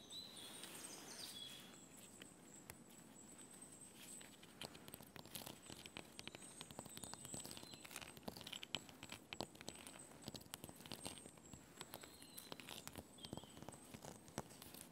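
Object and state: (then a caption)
Birch log bark. Painted fingernails tap and scratch the white papery bark of a large, solid birch log lying on leaves. The result is a quiet stream of soft, dry taps and crackly scratches, with faint steady high tones in the background.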